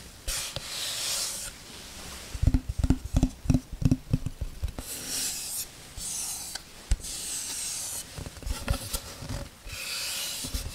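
Long red nails scratch and rub a flat light-wood oval tray with a white rim and handle holes, held close to the mic. Bright, hissy rubbing sweeps alternate with quick bursts of low, dry tapping and scratching, the sharpest run in the middle of the clip.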